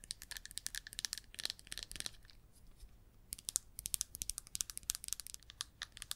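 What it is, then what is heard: Plastic jar tapped and scratched with nails. Long red nails tap and scratch the lid top and side of a small red plastic baking powder jar. Dozens of quick, bright, dry clicks and crinkly scratches come in dense bursts, with a brief quieter stretch near the middle. There is almost no low end.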